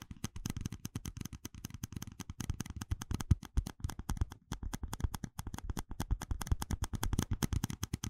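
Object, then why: Small plastic cup. A small, hollow, empty red plastic cup with ribbed rings is held in one hand and tapped with fingertips and nails. It gives a rapid, steady stream of short, dry taps that are hollow and low-pitched, with faint bright clicks from the nails. Each tap stops at once, with no ring.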